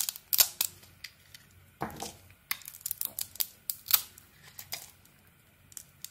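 A metal blade scrapes and carves slices off a palm-sized, hand-held solid red glitter-coated bar of soap, revealing its white inside, with shavings lying on the table. A quick series of crisp, bright cutting and scraping crackles comes through, one longer scrape standing out among short, sharp bursts with almost no low end.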